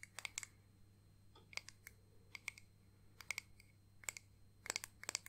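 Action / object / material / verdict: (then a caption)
tap / small flat clear acrylic disc ornament / acrylic / none. A small, flat, solid clear acrylic disc ornament with pressed flowers and "Nana" lettering is tapped with long painted nails. The result is quiet, irregular runs of sharp, bright clicks that stop instantly with no ring, over a faint low hum.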